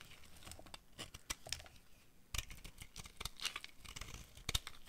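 A utility knife blade carves crumbly white chips off a solid, hand-sized bar of dry white soap held in one hand. The sound is a quiet run of dry, crackly scrapes and crunches, bright and papery, with sharp bursts of tearing and crumbling.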